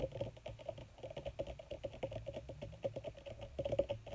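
Long red nails on both hands rapidly tap and scratch a wrinkled black leather sheet, possibly faux leather. The result is a quiet, dense stream of short, dull taps that ring around 560 Hz over a soft low thump, with scratchy rustling between the taps and almost no bright content.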